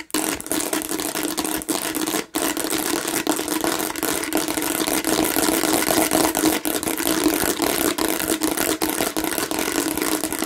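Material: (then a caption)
Plastic. A hand-sized hollow plastic watermelon-shaped bottle, red and green with raised bumpy seeds, is scratched aggressively with the long nails of both hands. The result is a dense, steady stream of rasping, bright scratching over a hollow mid-pitched resonance, with almost no low end and a brief pause just after two seconds.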